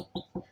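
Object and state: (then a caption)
Solid spot on plasterboard wall. Two knocks on a plasterboard wall at a spot over the wooden frame give dull, solid thuds with little ring, centered low around 190 Hz. The spot sounds solid, not hollow.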